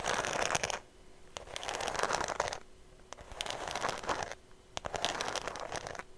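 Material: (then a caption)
Faux leather. Fingertips and long nails tap and scratch the smooth surface of a cream faux leather shoulder bag held flat in front of the mic. Four bursts of bright, crackly scratching, dotted with sharp taps, are separated by short, quieter pauses.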